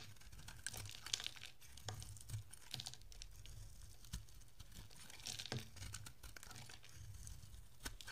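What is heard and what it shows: A utility-knife blade shaves long curls off a solid, dry green soap bar with a blue coated edge, held in the hand. Quiet, crisp scraping and crinkling rasps come in short bright bursts over a soft low rumble, with no ringing after each cut.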